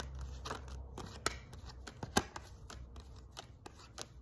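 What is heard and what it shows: A stack of thin paper tarot cards is shuffled and flicked between the hands with the fingertips, above a spread of cards lying on the table. Soft, continuous papery rustling is broken by an irregular series of short, crisp, bright snaps and flicks, the sharpest landing just past the one- and two-second marks.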